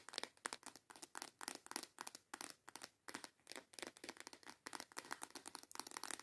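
Long yellow nails tap and scratch a small transparent plastic box full of colorful false nail tips. A fast, quiet run of dozens of crisp plastic clicks and scratchy crinkling bursts is heard, bright and with no low end. Each sound is dry and dies away instantly.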